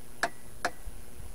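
A screwdriver taps twice on a plastic soil stack, further down the pipe. Each tap is a short, dull thud rather than a hollow knock, showing that this section of pipe is blocked and full.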